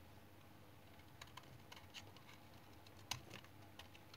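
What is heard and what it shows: A light brown, hand-sized bar of dried household soap is held in one hand while a small metal knife in the other shaves and scrapes its surface, dropping shavings onto a pile below. Quiet, dry, bright scraping clicks and short crisp ticks sound over a low background hum, with the strongest cut near the end.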